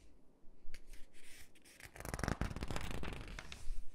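Fingers pinch and crinkle the page edges of an open glossy paper catalog and rub the pages with long nails. Soft, scattered papery crackles and scratchy rubs start things off, then grow into denser, brighter crinkling for the second half.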